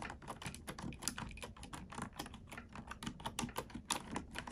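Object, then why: Plastic computer keyboard. Two hands type with long nails and fingertips on a black plastic computer keyboard resting on a wooden desk, ASMR-style typing meant for relaxation and sleep. It makes a steady run of quick, dry clicks and taps with short, bright clacks and no ringing after each press.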